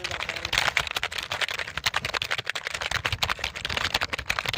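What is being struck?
Plastic computer keyboard.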